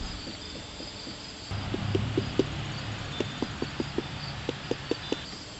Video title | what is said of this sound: Watermelon Harvest - How I Determine When Ripe | knock on it if it sounds hollow its right